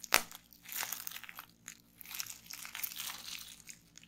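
Fingertips and long nails pinch and pop individual bubbles on crumpled clear plastic bubble wrap resting on a table. One sharp, bright pop opens the clip, followed by quieter bursts of crisp, high crinkling and small snaps as the plastic is squeezed and handled.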